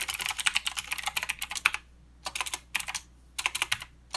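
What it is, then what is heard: Mechanical keyboard with plastic keycaps and clicky switches. A mechanical keyboard with plastic keycaps and clicky blue switches is typed on with the fingertips of both hands. Crisp, bright clicks come in a fast run for almost two seconds, then in two shorter bursts separated by brief silences, with one last click at the end. Each click is sharp and dies away at once.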